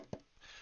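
A single hollow tap on the body of a giant toy truck 3D-printed in Polymaker gradient starlight purple filament. The print is hollow by design and did not use a whole reel. The knock is short and dull, with a low-mid thump that dies away almost at once.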